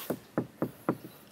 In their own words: pintu itu udah ditambahin peredam, jadi kalau diketok tuh kerasa banget padetnya.